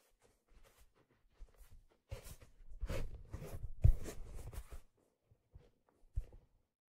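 Palms and fingers rub along the crown and brim of a hollow black leather fedora handled close to the mic. The result is soft, scratchy brushing in short bursts, swelling into a longer stretch of steady rubbing in the middle. The sound is quiet and heavy in low tones, with no bright ring after each stroke.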